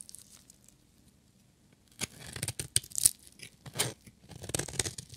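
A small, solid blue-and-white striped bar of dry soap, held in one hand, is shaved and scraped with a metal utility-knife blade so flakes fall off. After about two quiet seconds, irregular bursts of crisp, bright scraping and crunching follow, with sharp clicks of the blade biting into the soap.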